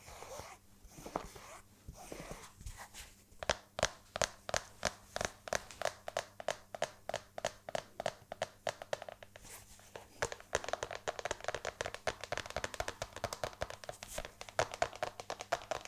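Long red nails tap and scratch the suede upper and beige leather sole of a single hollow, empty black suede stiletto pump held in the hand. Quiet, dry clicks and soft scratching come in an uneven rhythm, then turn into a faster, denser patter of bright, crisp taps after about ten seconds.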